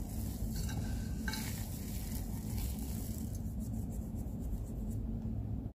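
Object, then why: Soap crumbs. Fine crumbs of dry white and purple soap, spread flat in a white tray, are rubbed and pinched between fingertips and spread out. The result is a steady, gritty rustling with a dense low rumble and faint bright crackles throughout, cutting off abruptly at the end.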